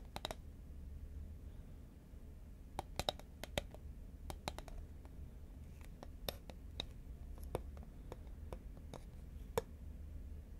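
Fingernails tap and click on the side of a tall, cylindrical cardboard Pringles can, a composite paperboard chip can held horizontally in both hands. Sharp, dry, bright clicks come in irregular bursts and die away instantly. Behind them runs a steady low rumble.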